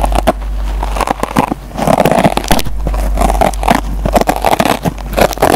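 A metal pencil tip scratches the green nylon scouring pad on a yellow foam sponge block, giving a rapid run of dry, crackly scrapes and ticks. Denser, rough rubbing swells sit in the low-mid range over a steady low hum.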